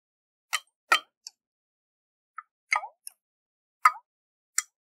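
Fingernails tap a round, hollow glass jar with a metal lid and water inside while it is tilted in the hands. Short, bright, clicky taps come one at a time across the clip, separated by silence. A few are followed by a brief, downward-gliding plop of water inside the jar.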